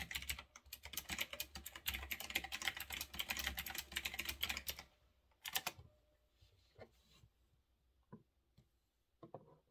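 Fingertips type on a retro typewriter-style mechanical keyboard with round backlit plastic keycaps, resting on a desk. Bright, crisp clicks rattle in a fast, uneven flurry for about five seconds, then a sharp louder burst sounds and only a few scattered keystrokes follow in near silence.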